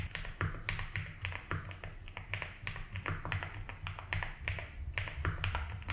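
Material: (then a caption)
Plastic. Fingertips type slowly on a 75% mechanical keyboard with ABS keycaps in a light blue plastic case. Each key press gives a short, bright plastic clack over a steady low rumble, in an uneven, unhurried rhythm.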